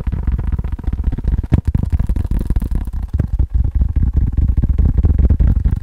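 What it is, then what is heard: Faux leather phone case, fast tapping. A faux leather phone case is tapped rapidly and continuously. The taps are soft, dull thuds with almost all their energy in the low end and no bright ring, running together in a dense, slightly uneven patter.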